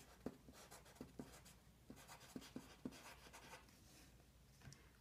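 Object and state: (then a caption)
Pencil writing on a sheet of paper. A blue colored pencil scratches its tip across a thin, solid sheet of lined white paper lying flat on a wooden desk as one hand writes and draws while the other holds the sheet still. Soft, dry scratching strokes run throughout, punctuated by short, sharp taps where the pencil strikes the paper.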